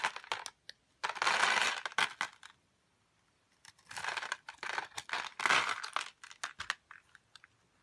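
A metal utility blade shaves small cubes off a solid light-blue rectangular bar of soap scored in a grid, in a crunchy cutting motion. Bright, dry crunching and scraping comes in two main bursts separated by a brief silence, each trailed by scattered crisp ticks and clicks as the cubes break away.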